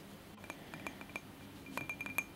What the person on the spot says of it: ASMR tapping and scratching on glass candle holder